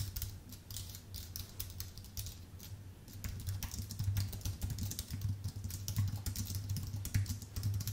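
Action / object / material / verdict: tap / aluminium-based keyboard with plastic keys / aluminium, plastic / none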